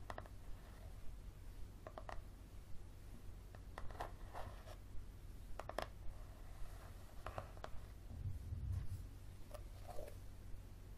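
Fingernails tap and scratch the spine of a yellow paperback book with a card cover, held in both hands. Quiet, dry, sharp clicks and short scratchy strokes come at an irregular pace, each dying away almost at once. They sit over a steady low hum.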